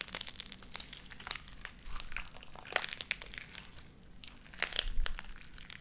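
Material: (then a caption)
Slime. Light-blue sticky slime with white beads is squished between pressed hands and pulled apart. It gives off a steady run of sharp, bright crackling pops and crinkly clicks over a low, soft rumble, with denser bursts near the start and end.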